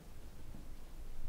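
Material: Nothing is struck.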